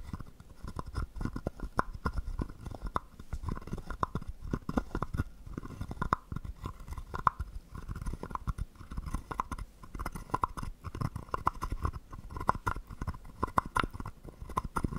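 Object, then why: Carved wooden frog guiro scraped with a wooden stick. A small hollow carved wooden frog guiro, held in the palm, has its ridged back scraped and tapped with a wooden stick. It makes a steady stream of rapid, dry clicks and ratcheting scrapes. The hits are short and woody, with a hollow tone near 1 kHz over soft low thumps, and they die away almost at once.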